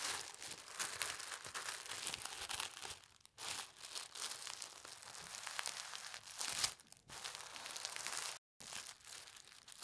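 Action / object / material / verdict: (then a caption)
scrape / folded tissue paper / paper / none. A narrow strip of folded white tissue paper is held up, then pressed and rubbed flat on a table by fingertips with red nails. The result is a steady, bright crinkling and rustling, mostly in the high range with almost no low end, broken by brief pauses near 3.3 and 8.5 seconds.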